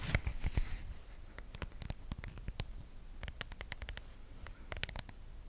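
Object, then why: Plastic phone case on a smartphone. A hand-sized smartphone in a pale pink patterned plastic protective case, with its camera visible on the back, is held in both hands close to the mic. Long acrylic nails tap and scratch the back and sides. The result is quick, irregular, sharp plastic clicks with bright edges, mixed with soft scratching over a low, dull handling rumble.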